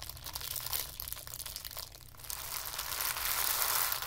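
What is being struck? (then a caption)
Tissue paper ball. A small ball of white tissue paper is squeezed and crushed in the hands, producing a dense, bright crinkling and crackling with little low end. The rustle runs continuously, dips briefly near the middle, then grows fuller and louder toward the end.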